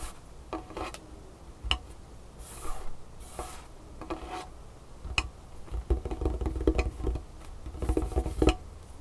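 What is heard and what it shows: Long painted fingernails on both hands tap and scratch a large, solid, dark wooden tabletop, with the fingertips resting on the wood between strokes. Short, dry clicks with almost no ring alternate with soft, hissy scratching passages over a steady low hum. The taps bunch together and grow louder toward the end.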